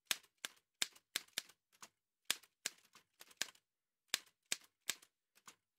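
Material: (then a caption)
Metal. Fingertips in white satin gloves type fast taps on the keys of an old dark-grey metal manual Remington typewriter, which has a hollow body and paper loaded. More than a dozen sharp, bright clacks land at an uneven pace. Each one is dry, with almost no low end and a very short ring.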